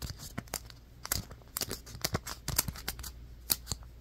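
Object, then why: Polystyrene foam ball. Fingertips and nails scratch and tap a white, fist-sized polystyrene foam ball, producing a quick run of dry, bright squeaks, scrapes and taps. Each sound cuts off almost instantly with no ring. A faint low hum sits underneath.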